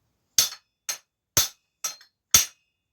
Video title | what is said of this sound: Retro Specialised Rockhopper FS Comp Gets some major upgrades | When it's bottomed out and it's set, you'll hear that kind of ting difference as well in the knocking sound.